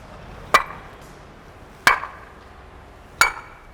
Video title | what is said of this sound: The Significance of Plinth Beams in Home Construction - JK Super BuildXpert Vlog Series - Episode 2 | इसकी जो ringing sound है वो मेटलिक है आई मीन इसकी क्वालिटी अच्छी है